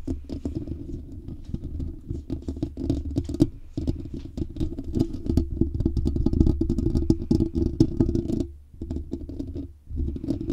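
The large hollow metal mesh grille of a condenser microphone is tapped and scratched with the fingertips and short nails of both hands. The result is a dense, irregular patter of soft, dull thumps and scratchy rustles, with a boomy low-end body and almost no high treble. Brief pauses occur near 3.6, 8.6 and 9.9 seconds.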